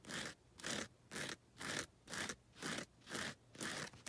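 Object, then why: Gritty foam nail buffer block. Long red nails scrape back and forth across the abrasive faces of a grey, gritty foam nail buffer block. Eight steady, evenly spaced gritty strokes come about twice a second, each a bright, hissy rasp, ending with a brief final scratch.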